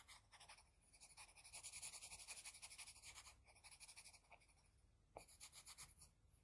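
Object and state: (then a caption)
Pencil shading on drawing paper. The graphite tip of a wooden HB pencil makes rapid, short scratching strokes on a flat white sheet of drawing paper while shading an eye. The quiet, bright, papery scratches come in a quick, uneven rhythm, easing briefly past the midpoint before a sharper stroke starts the final burst.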